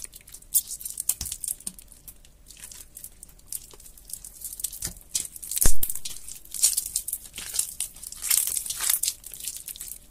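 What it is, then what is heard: Water-soaked soap bar crumbling. A large, solid, water-soaked light green bar of soap is held over a white sink and squeezed, crumbled and rubbed apart by fingertips with red painted nails. It makes soft, wet crinkling and tearing sounds with bright, crisp crackles and occasional duller squishes. The bar ends up broken into mushy flakes.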